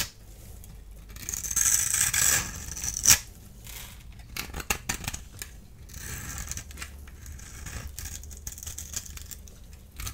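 A small blade tool scrapes a solid blue-and-white striped dry soap bar held in the hand, sending crumbs falling. Bright, crisp scraping and crackling swell into a louder rasping burst early on, then a sharp snap. Quieter, steady scratchy shaving continues to the end.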